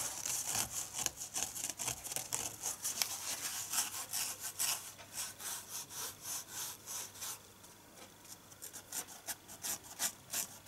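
Fingertips and nails rub and scratch across the rough green abrasive scouring layer of a small rectangular red polyurethane foam dish sponge held in the hands. The result is a bright, dry, hissing scratch made of quick, uneven strokes at roughly three per second, each dying away almost at once. The strokes briefly soften near the end before picking up again.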